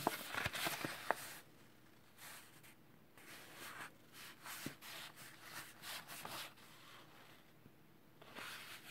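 Gloved fingertips rub the surface of a flat kraft paper packaging envelope holding a Samsung Galaxy A3 (2017) rugged phone case. A brighter, crinkly rustle with a few sharp ticks opens the clip, then it settles into quiet, soft swells of papery rubbing separated by near-silent pauses.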